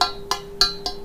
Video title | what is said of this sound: Review Pisau Tramontina Passador dan Tramontina Bullnose | ngentering sama tidaknya itu kemungkinan bisa dipengaruhi dengan gagangnya